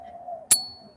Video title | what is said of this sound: MORGAN & PEACE DOLLAR SALE /AUCTION TIME | It's a beautiful sound, isn't it?